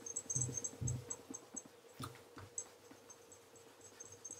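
A black leather Regal wingtip tassel loafer, fitted with a wooden shoe tree and held in one hand, is rubbed with cloth-wrapped fingertips to polish it. Soft, low rubbing strokes repeat unevenly while thin, high squeaks chirp over them, stronger early on and fading to a quieter rub.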